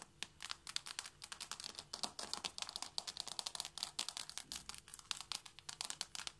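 Long manicured fingernails of both hands tap quickly on hardwood floorboards in front of a purple knit cushion. About forty-six sharp, dry, bright clicks with no ring arrive in a rapid, uneven patter across the clip.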